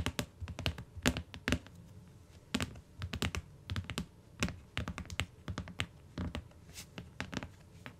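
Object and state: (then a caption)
Hardcover book with cardboard cover. Long nails tap the cardboard cover and edge of a closed tan hardcover book lying on a fur rug, then fingertips tap the cover. The result is a rapid, irregular run of short, dry taps with a low, dull thump and bright clicky tops that die away almost instantly.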